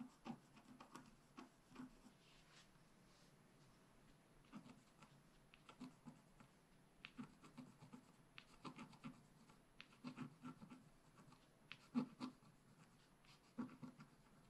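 A wooden stylus scratches lines into the lower flowers of a thin, solid, black wax-coated scratch art page lying flat on a table while the other hand holds the sheet. Quiet, irregular bursts of short, dry scratching strokes come in clusters with brief pauses, each scrape ending almost instantly with a faint papery rasp.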